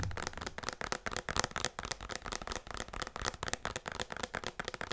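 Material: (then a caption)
Plastic. A medium-sized white plastic pump bottle of hand lotion with a yellow label, apparently full, is held in both hands and tapped and scratched on its sides with fingertips and nails. The result is a steady run of quick, dry, crackly taps and scratches with a bright, hollow plastic edge and almost no ring, continuing without a break through the clip.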